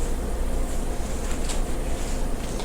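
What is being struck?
Nothing is struck.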